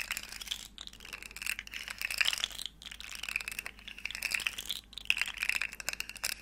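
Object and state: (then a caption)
Plastic articulated slug fidget toy. A small, hollow, rainbow plastic segmented slug fidget toy is curled and flexed while long nails tap its segments. The result is dense, bright, crinkly clicking with a steady high tone, broken by brief pauses.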